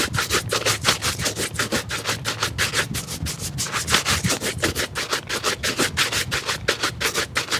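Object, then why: Leather shoe upper brushed with a bristle brush. A black leather shoe held in a lap has its upper rubbed vigorously with a wooden-backed bristle shoe brush. Quick, fairly regular back-and-forth strokes make bright, hissy scrubbing bursts, nearly three per second, over a faint low hum.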